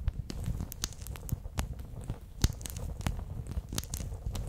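A bear-shaped clear PVC pouch full of water beads is held close to the microphone, and its ear section is squeezed so the beads shift and pop inside. Low, muffled squishing runs throughout, broken by short, sharp, bright pops and crackles that die away almost instantly.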